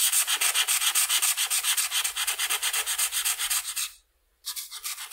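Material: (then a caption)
Paper. A red felt-tip marker held in the hand is rubbed rapidly back and forth across a flat sheet of white paper printed with a butterfly outline, lying on a table, filling in the wing. Each stroke makes a bright, hissy scratch, about three or four per second. The strokes stop briefly near the four-second mark, then resume more softly.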